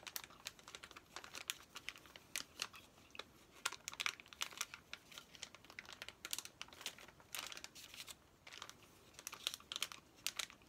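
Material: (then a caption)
Plastic film. A hand-sized, thin Trolls activity play pack, a flat plastic-wrapped packet with paper contents, is held up and handled with fingertips and nails. Its wrapper gives off quiet, bright crinkles and scratches in rapid, uneven bursts of short, sharp crackles. There is almost no low end.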